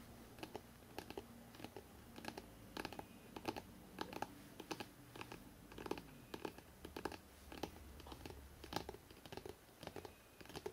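Fingertips tap rapidly along the spine of a hardcover book, making quick, dry, clicking taps with almost no ring. The taps come in uneven bursts over a steady low background hum.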